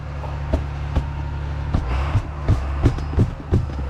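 A metal calf feeder is banged on repeatedly to judge how much feed is inside, giving a series of dull, low thuds with almost no ring over a steady low background rumble. The muted sound shows the feeder is partly full, fuller on this side.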